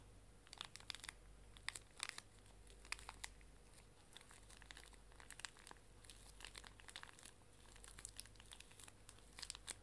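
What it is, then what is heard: Plastic-wrapped pocket tissue pack being crinkled. A small, full pink pocket tissue pack wrapped in plastic film is squeezed and crinkled in both hands with long nails, then tilted. Dense, bright crackling crinkles come in short bursts over a faint, steady low hum.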